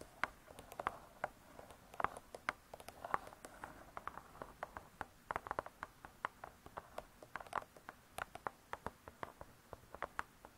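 Long nails tap the cardboard cover of a spiral-bound hardcover cookbook. The result is a quick, irregular run of light, dry clicks that die away almost instantly, centered in the midrange with brief bright edges over a quiet background.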